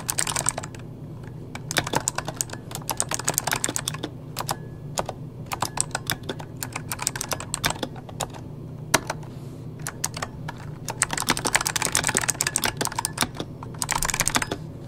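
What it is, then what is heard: Plastic mechanical keyboard being typed on. A full-size backlit mechanical computer keyboard with plastic keycaps is typed on rapidly with the fingertips of both hands. Bursts of sharp, bright key clacks come in quick runs, broken by short pauses, over a steady low hum. The busiest stretch of tapping comes near the end.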